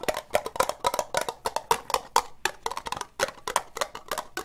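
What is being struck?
Ribbed plastic cup.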